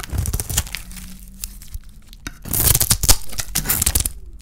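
A palm-sized solid oval bar of dry white soap with a rose-gold painted coating is held in the hand and scraped with a small metal blade that cuts off slices. Dry, crackly scraping and crisp splintering bursts are heard, quieter in the first half and growing louder and brighter from about 2.5 seconds.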